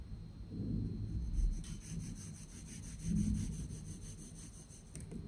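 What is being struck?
Block of kinetic sand cut with a metal knife.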